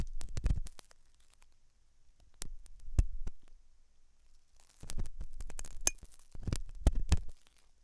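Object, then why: Silicone dummy ear scratched with a metal pick. A thin hooked metal dental tool scratches inside the ear canal of a white silicone dummy ear on a binaural microphone. Close, low, muffled scraping and thumping comes in bursts, with sharp clicks and faint bright metallic ticks between quieter pauses.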